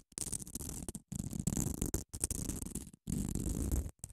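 Long acrylic nails scratch and tap the gritty, abrasive face of a small grey solid foam nail buffer block held in one hand. The result is dense, rough scratching with a low, grainy body and a thin, bright hiss on top, coming in repeated bursts separated by brief silences.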